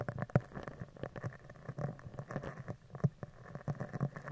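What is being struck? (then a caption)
Steel mesh microphone grille. A mascara spoolie brush with dark plastic bristles and a clear handle is rubbed and scratched across the top of a round, hollow, woven steel mesh microphone grille. This gives close, low, muffled scratching and tapping, with frequent short scrapes and a few louder thumps that stop almost at once.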